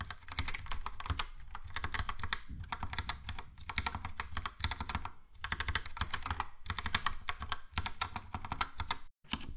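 Fingertips type on a Logitech POP Keys plastic mechanical keyboard with a yellow plastic case and round plastic keycaps. A rapid, steady stream of dry clacking taps comes in bursts, with short pauses between them and a brief silence just after 9 seconds. Each keystroke pairs a bright click with a low thump and dies away almost instantly.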